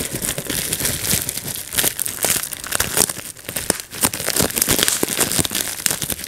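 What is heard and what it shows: Fingertips pinch and pop bubbles one by one on a clear plastic bubble wrap sheet resting on a lap. The result is a steady stream of sharp, bright snaps over constant crinkling plastic, with each pop dying away almost instantly.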